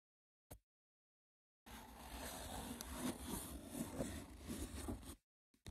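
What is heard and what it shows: Fingertips with short nails tap and scratch the textured lid of a small, hollow-looking rectangular woven seagrass or wicker box resting on a wooden table. A single soft tap is followed by silence, then about three and a half seconds of dense, rough scratching with low, hollow knocks mixed in. It stops abruptly, and a couple of faint taps follow at the end.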